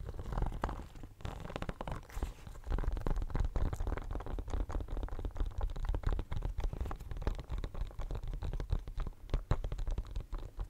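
Fingernails scratch across a pink silicone pencil case covered in studs, held close to the microphone. The result is a steady run of dense, low, rumbling scratches and soft rubbery rasps with little brightness, continuing throughout.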